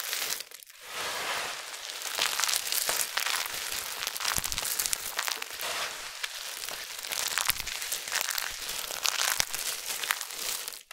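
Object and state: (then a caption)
Dry soap flakes crushed by hand. A heap of thin, brittle amber soap flakes mixed with starch powder is dug into by starch-covered hands that squeeze handfuls and rub the flakes together. The result is a continuous, bright crinkling and crunching with dense crackles and almost no low end.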